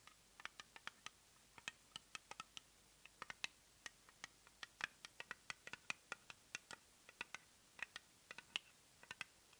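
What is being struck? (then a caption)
Small plastic cosmetic jar. A small round plastic cosmetic jar with a white base and lavender lid is turned in the hands and tapped and scratched with long nails. Around forty quiet, sharp, dry clicks and ticks sound at an uneven pace, each bright and high with almost no low end and dying away instantly.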